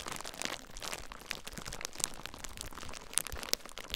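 Fingertips with short nails squeeze clear plastic bubble wrap bundled around a recorder, pressing on its air-filled bubbles. A steady, close crinkling rustle runs throughout, broken by sharp, bright pops as individual bubbles burst.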